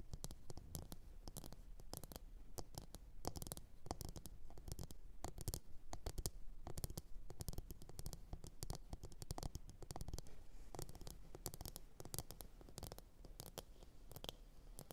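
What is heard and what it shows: Long orange nails scratch and tap the base and sides of a medium glossy blue ceramic bowl, hollow and empty, resting upside down on a fur mat. Quiet, rapid, dense clicks and scratchy strokes sound throughout, with bright ticks over a low, muffled body. Each tap dies away almost instantly.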